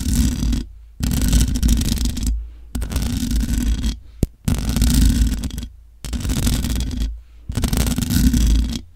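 Long nails scratch the hollow metal mesh grille of a large black microphone in six bursts of rough scraping, separated by short silences. The scratching comes through as a deep, rumbling low end with bright hiss on top, and a single sharp click sounds between the third and fourth bursts.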